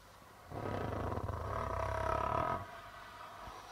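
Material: Plastic.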